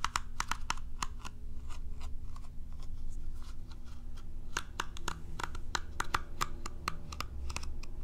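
Long nails scratch and strum the bristles of a curved plastic cat self-groomer brush with a hollow shell. The result is a fast, uneven run of sharp plucking clicks with a faint ringing tone near 1.2 kHz over a low, steady rumble. Each click dies away almost at once.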